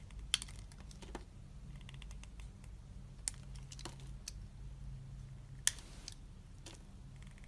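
A snap-off utility knife blade scrapes and carves thin shavings from a hand-sized, solid, translucent green glycerin soap bar held in the palm. Short, crisp, bright scraping clicks come at irregular intervals, a few sharper than the rest, each dying away almost instantly. A steady low hum runs quietly underneath.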